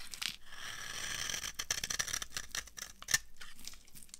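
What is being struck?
Bar of laundry soap.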